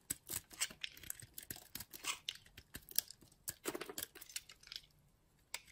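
A metal blade cuts and scrapes a small, solid piece of white bar soap held in the fingers. Quiet, crisp, bright scraping and shaving bursts come in quick irregular strokes with little low end, followed by a brief pause and one last stroke.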